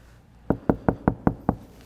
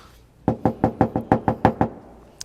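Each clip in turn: First: sound-deadened car body panel, damped. Second: undamped, resonant car body panel.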